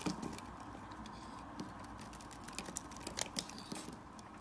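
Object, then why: Soap bar scraped with a blade. A blade slices and scrapes thin shavings from a solid orange-yellow bar of soap held in the hand. Quiet, steady scraping runs throughout, broken by crisp, bright crunches and clicks, with sharper ones near the start and in the second half.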